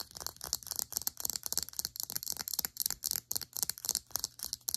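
Long acrylic nails tap and scratch the sides and cap of a small cylindrical plastic serum bottle held upright. Rapid, irregular bursts of crisp, dry clicks and scratchy ticks are heard, bright and high with almost no low end. Each sound cuts off almost instantly, at a fairly quiet level.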